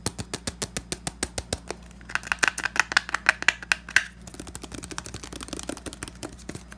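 A hand-sized, hollow, pink cylindrical plastic foot powder bottle (Tenys Pé) with a flat white base is tapped and scratched with the fingertips and short nails. A steady run of separate, crisp taps gives way to louder knocks with a hollow, bright plastic ring around 2 kHz. The sound then turns into fast, dense scratching and light tapping.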